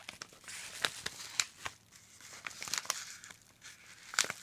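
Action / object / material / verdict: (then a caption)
scrape / padded kraft-paper mailing envelope / kraft paper / none. Gloved fingertips press, fold and crinkle a hand-sized yellow kraft-paper padded (bubble-lined) mailer with contents inside, resting on a wooden desk. Dry, bright crinkling and sharp crackles come in quick, uneven bursts, with possible tearing toward the end. The sound is quiet overall with almost no low end, and each snap dies away almost instantly.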